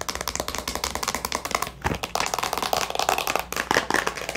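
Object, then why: Small plastic storage box with a pen and labels inside. Long nails tap and scratch a small, hollow clear plastic storage box with a latch, partly filled with a pen and labels. Quick, sharp, clicky taps follow one another in a steady stream with brief, bright ticks, mixed with a light scratching rasp. Each tap dies away almost at once.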